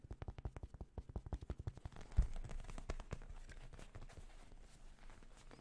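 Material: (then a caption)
Leather. A mostly leather whale figure with a felt detail, from an old gaming cafe, is tapped fast, starting far away and moving closer. Quick, dull, low-pitched taps come as distinct knocks at first, then blur into a dense, steady patter after a sharper knock about two seconds in. The sound stays soft and muffled, with almost no high end.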